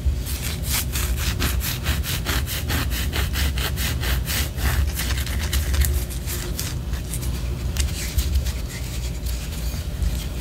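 Long orange acrylic nails scratch the side of a large white solid wax pillar candle held upright. Quick, regular rasping strokes give bright, dry scraping over a steady low rumble. Later the strokes grow less even and busier.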